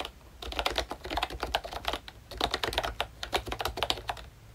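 Fingertips of both hands type on a full-size pink ROYCHE Disney Mickey Mouse retro keyboard with a plastic case, round dark green plastic keycaps and membrane switches. A quick, uneven run of dry, bright plastic taps and clacks with very short decay, briefly easing off just past the two-second mark before resuming.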